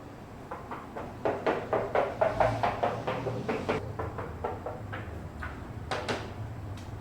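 Twenty-year-old ceramic kitchen wall tiles are tapped in quick succession, each tap giving a short, hollow, mid-pitched knock that shows the tiles are hollow behind and need to be removed.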